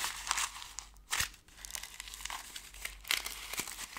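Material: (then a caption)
Foil paper. A ball of thin gold foil paper is squeezed and crinkled close to the camera by fingers with long nails. It makes a dense, bright, crackly rustle with almost no low end, swelling into louder crunches around the one-second and three-second marks before settling back to a soft crinkle.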